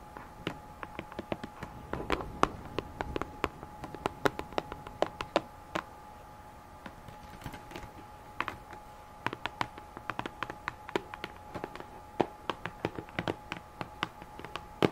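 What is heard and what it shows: A hollow pink cardboard box, held near the microphone, is tapped rapidly on its sides with long manicured nails. Sharp, dry clicks come in irregular bursts over a faint steady hum, with each tap dying away almost at once.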